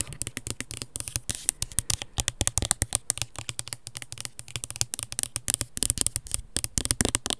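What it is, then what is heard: Plastic over-ear headphones. Long red nails quickly tap and scratch the earcups and headband of black plastic over-ear headphones. A rapid, steady series of sharp, dry clicks follows, bright and ticking on top with a faint low thump beneath, and each hit dies out almost instantly.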